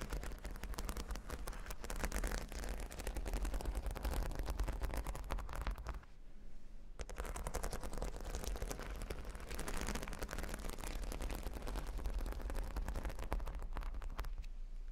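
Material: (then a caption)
Plastic. Long nails scratch and tap across a square cork board covered in a grid of small adhesive plastic faux-pearl beads. A dense, rapid stream of crisp clicks and scratchy rattles runs throughout, with a strong low rumble beneath. The sound briefly thins out around six to seven seconds before resuming.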